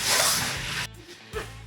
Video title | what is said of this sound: Dropped the Tank, Replaced Everything… But Now the Bronco Won’t Run | It's actually not evaporated that much, so that's good. Unless we can hear it sloshing around in there.